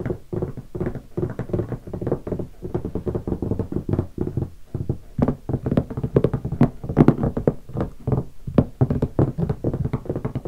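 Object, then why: Hardshell guitar case. Fingertips tap the lid of a closed, large black hardshell guitar case covered in vinyl stickers in quick patterns. The result is a rapid, steady run of dull, low knocks, each dying away almost at once, with occasional sharper taps standing out.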